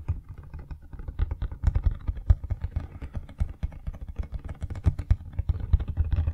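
A medium-size printed cardboard retail box for a Blue Yeti X microphone, apparently still holding its inner packaging, is held upright in both hands while fingertips and nails tap and scratch its sides. The result is a dense run of quick, dull, low-pitched taps at an uneven pace with faint scratching between them.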